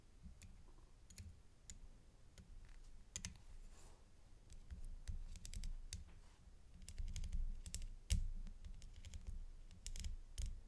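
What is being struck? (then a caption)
Metal chain necklace with rhinestone pendant. A thin black stick held in a white-gloved hand taps a small, solid metal chain necklace with a rhinestone flower pendant of leaf-shaped settings, lying flat on a dark cloth. Quick, bright clicks come at an irregular pace over a low background rumble, with a few louder taps standing out.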